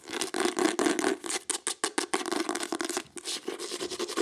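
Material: Cloth, board.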